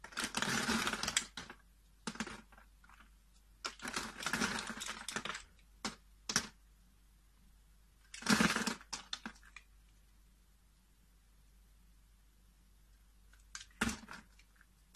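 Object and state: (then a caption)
Bar soap being carved. A blade cuts into a hand-sized, solid peach-coral bar of soap held in the hand, crumbling small grid-scored cubes off its surface. Short bursts of crisp, bright crunching and scraping come in uneven clusters, separated by near-silent pauses.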